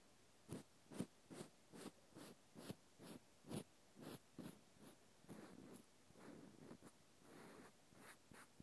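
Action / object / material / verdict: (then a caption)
scrape / natural cork stopper scratched with a cotton swab / cork / none. A small solid natural cork stopper is held sideways in the fingers while a cotton swab scratches its end and side. The clip is a quiet, irregular series of short, soft, dry scraping strokes with a low, muffled body and faint bright edges. Near the end, a few strokes run together into longer rustling scrapes.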